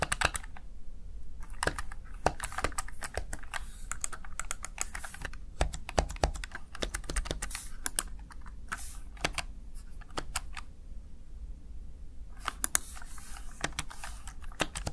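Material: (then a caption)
Plastic. Fingertips and nails type on the keys of a small backlit plastic Razer Tartarus Chroma gaming keypad, seen first from the side and then from the front. Rapid, sharp, bright plastic clicks come in bursts with brief pauses, over a steady low hum.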